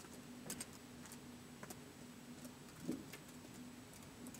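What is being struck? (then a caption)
Plastic laptop keyboard. Fingertips slowly tap the keys of a white plastic laptop keyboard, giving six soft, quiet clicks with bright, crisp edges spaced unevenly across the clip. Each tap dies out almost at once over a faint steady low hum.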